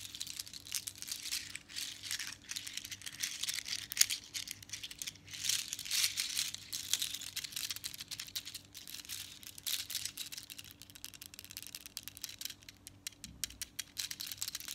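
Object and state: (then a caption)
Seashell bead necklace, shells rattling. A bunch of small hollow seashells and colored beads from a seashell bead necklace, held close in both hands, are scratched and squeezed with long nails. The shells rattle against each other in a dense, bright, crackling clatter of fast clicks that continues throughout, with one sharper click standing out early on.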